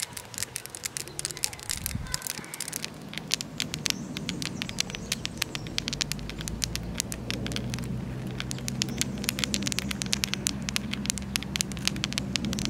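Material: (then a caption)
Granite. A granite stone is tapped for ASMR in a park by a lake, producing rapid, dense clicks that sound bright and crackly like patter. A steady low outdoor rumble runs underneath throughout.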